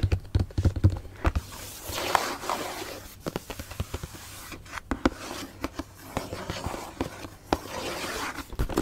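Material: Cardboard.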